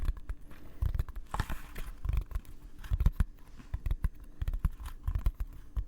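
Fingers tap and scratch on the leather-wrapped cover of a first hand-bound book, producing soft, dull thuds mixed with dry scraping. The taps land in quick, irregular bursts, with low, muffled bodies and brief brighter scratchy edges.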